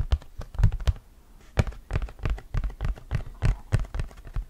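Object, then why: Hard plastic flying disc. An orange hard plastic flying disc is held in both hands while fingernails tap and scratch across its surface and rim. The result is a quick, irregular series of short, dry clicks and taps with a low, hollow thump and brief faint scratching between them.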